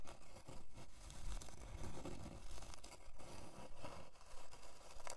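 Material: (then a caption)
Plywood. Long dark nails scratch across the grain of a thin, flat, solid plywood heart-shaped board resting on faux fur. About ten steady, rhythmic scratching strokes rasp by, with a dull, low-heavy texture and short tails that fade quickly between strokes.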